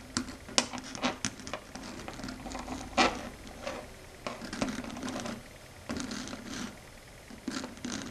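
Long red acrylic stiletto nails tap and click their tips on a large, solid, flat dark grey matte chalkboard. The result is a run of sharp, bright clicks and light scratchy taps with a faint low tone around 250 Hz, each dying away almost at once.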